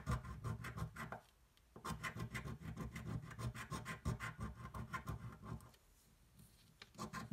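A coin rubs and scratches away the remaining coating on a thin paper scratch-off lottery ticket resting on a table. Quick, rasping scratch strokes come in fast, uneven bursts with a dull, low-heavy body. There are two short quiet pauses, one near the start and a longer one toward the end before the scratching resumes.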